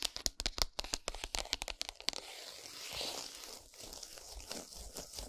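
Long nails tap and scratch the printed cardboard packaging of a flat Lindt chocolate bar lying on a towel. For about two seconds there is a quick run of sharp, dry, bright taps, and then it turns into steady, crackly scratching and rustling across the card for the rest of the clip.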